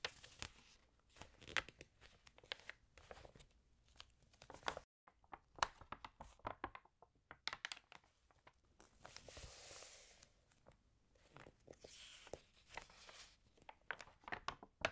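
Fingertips and long nails turn the pages of an open, water-damaged paper fashion magazine and rub its crinkled surface. Quiet, dry crackles and crinkles come in quick, sharp bursts, with a brief silence near the five-second mark and softer, sustained rustling swells around ten and twelve seconds. The sound is bright and papery with almost no low end.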